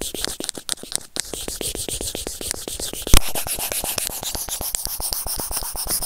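The white plastic tip of a tweezer scratches rapidly over a white plastic earphone inline remote microphone resting on felt, producing a fast train of dry, bright scratching ticks with a low rumbling undertone. A sharper, louder scrape stands out at about three seconds before the rapid scratching continues steadily.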